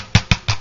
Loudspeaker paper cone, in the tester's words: when you tap it very similar again a speaker shouldn't sound like that